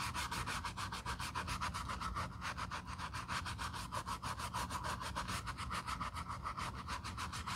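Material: Leather.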